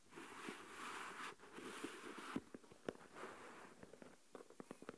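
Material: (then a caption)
Plastic. Fingernails tap slowly and sparsely on the lid and sides of a small translucent plastic deli tub with a lid, full of coarse salt. Soft, hissy swells of shifting grains are broken by eight sharp, dry clicks that stop almost instantly, with the taps gathering toward the end.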